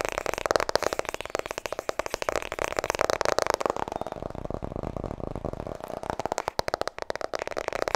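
Long nails tap rapidly on the front cover of a white softcover *Vertrouw me* paperback book. The result is a dense run of dry, clicky taps with a papery midrange tone and almost no ring.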